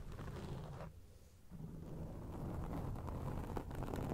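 Long acrylic rainbow nails scratch and rub a grey foam windscreen on a microphone, producing a dense, low, rumbling scratch with crackly ticks on top. The sound thins out briefly near the one-second mark, then returns and builds into steady, louder rubbing to the end.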